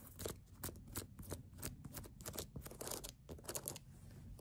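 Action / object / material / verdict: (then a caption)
scrape / rubber sneaker outsole / rubber / none. Long nails scratch across the ridges of a brown ridged rubber sneaker outsole held sideways, making a quick series of short, bright, scraping strokes over a low rumble. The strokes come in uneven bursts with no ring after each.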